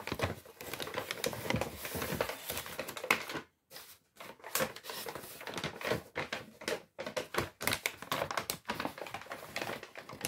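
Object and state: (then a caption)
Kraft paper bag crinkled by hand. An empty brown Lidl kraft paper shopping bag with paper handles is waved, crinkled and crumpled by hand. Dense, dry paper crackles and rustles come in rapid bursts with a bright edge, and brief near-silent gaps break the handling between bursts.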